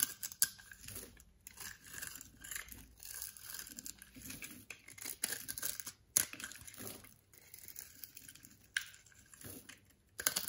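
A partly carved solid orange bar of soap is held in the palm while a box-cutter blade scrapes cubes and flakes off its surface. The sound is a run of bright, dry scraping and crackling strokes with brief pauses between them.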